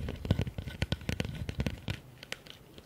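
Fingertips and nails rapidly tap and scratch the sides and bottom of a medium, hollow, empty blue plastic bucket with a rim lip. The quick, dry taps give low, hollow thumps, mixed with bright scraping and crinkly scratches. Each tap dies away almost at once, and the activity thins toward the end.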